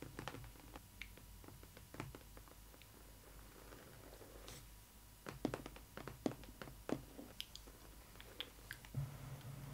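Long red nails tap and scratch the flat, printed back panel of the cardboard box for a Disney Ily 4ever Stitch adult collector doll. Short, dry taps and soft scratches come in quick, irregular bursts over a quiet, steady low hum, with a louder cluster of taps in the middle.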